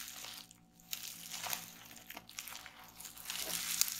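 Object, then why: Rolled plastic bubble wrap. Clear plastic bubble wrap rolled into a tube lies on a wooden table while fingers and nails press it, then both hands twist and squeeze it to pop the bubbles. Bright, crinkling plastic rustle is broken by sharp, short crackling pops that rise toward the end.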